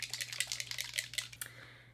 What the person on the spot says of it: has a little like shakey doohickey in him which makes me feel like I should shake it even more very liquidy